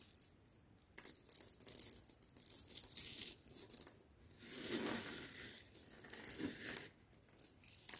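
Loose roasted coffee beans piled on a cloth mat are scooped up in cupped hands, dropped, and stirred with the fingers. The result is a soft, bright, dry rattling and clicking that swells into denser crackling pours and fades between handfuls, all at low volume.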